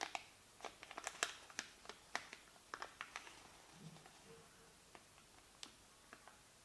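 A small, thin white paper receipt is folded and creased between the fingertips and nails of both hands. It gives a quick series of sharp, dry crackles and crinkles, bright and very short, with softer rustling between them. The sound is quiet overall and thins out toward the end.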